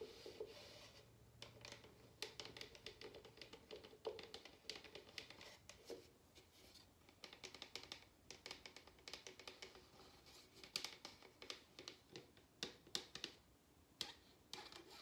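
An empty medium paper drinking cup, white inside with a printed exterior, is held and tapped and rubbed with fingertips and long nails. Quiet, bright, dry clicks and taps with fast decay mix with scratchy rubbing. The hits come in irregular bursts throughout, centered around 3.7 kHz.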